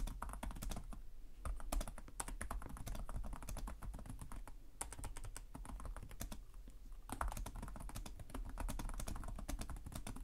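Fingertips with short nails type continuously on the plastic chiclet keyboard of a black laptop resting on a desk. Rapid, crisp clicking key taps run through the whole clip with brief pauses, over a steady low hum.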